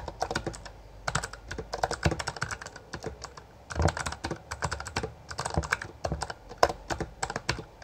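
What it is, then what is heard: Plastic mechanical keyboard being typed on. Both hands type continuously with their fingertips on a full-size black plastic Bloody B820R mechanical gaming keyboard with backlit keycaps and a hollow housing. The rapid, uneven stream of sharp, short clacks has bright click tops over a hollow, low thump from the housing. The key strikes come in bursts with brief pauses between them.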